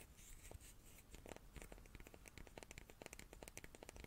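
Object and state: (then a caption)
Wooden cube. A small wooden cube is tapped repeatedly with quick, light taps, each a short, dry click with a woody knock around 480 Hz and a bright edge. The taps come in a steady, irregular stream over a faint background hiss, and each dies away almost instantly.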